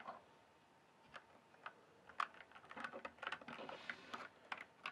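Fingertips tap and type at a slower pace on the plastic keycaps of a full-size RGB-backlit plastic mechanical gaming keyboard. Soft, bright clicks come sparsely at first, then gather into quicker runs of keystrokes, each one short and dry with almost no ring.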